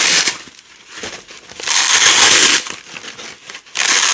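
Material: Nylon.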